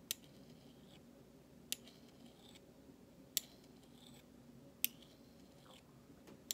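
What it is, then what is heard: Stainless steel spoon. The handle of a flat metal utensil scrapes across the bowl of a large, thin, solid stainless steel spoon. Five sharp, bright metallic ticks sound at roughly even intervals, with softer high scraping swishes between them over a low steady background hum. Each tick stops almost instantly with no ring.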